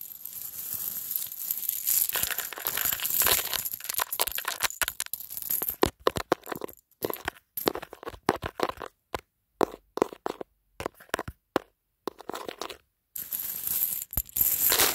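Fingertips rub and shuffle through a loose heap of many small, colourful, solid plastic four-hole sewing buttons on a white surface, close up, so the buttons clatter against each other. A dense, bright clicking rattle fills the first six seconds, then breaks into short scattered bursts with silent gaps, before a steady clatter returns near the end.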